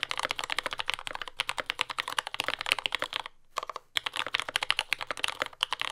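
Continuous two-handed fingertip typing on a compact mechanical keyboard with lubed yellow Gateron Ink switches, dark brown plastic keycaps and a carbon fiber plate, resting on a desk mat. The result is a fast stream of short, crisp, bright clacks with almost no low end, and a brief pause a little past the halfway point before the typing resumes.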